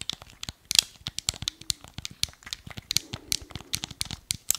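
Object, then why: Hard plastic game remote. Fingertips and nails tap and scratch the face and buttons of a small, hollow, black hard-plastic Wii remote. About twenty sharp, dry clicks and scrapes come in quick succession, each one bright and high with almost no low end and no ring.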